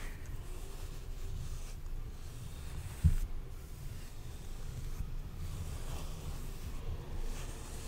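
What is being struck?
Nothing is struck.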